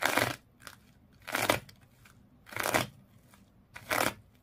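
Long nails scratch hard across the coils of colored twisted sisal/jute rope wrapped around a small fish toy. Four separate bursts of coarse, crunchy, bright scratching noise are heard, each about a third of a second long, with quiet gaps between them.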